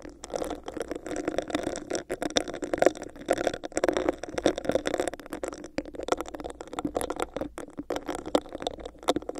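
A hollow, empty, clear textured plastic cup with a bumpy surface sits over a microphone while long nails scratch and tap on it. The result is a dense, continuous run of quick, dry taps and scratchy rasps with a hollow, boxy resonance centered around 540 Hz. Each tap dies away almost instantly.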